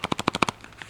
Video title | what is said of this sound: RARE WWII US Army Field Ration D: 72 Year Old Chocolate - First Opened/Eaten On YouTube | you can hear the chocolate bar rattling around there if you shake it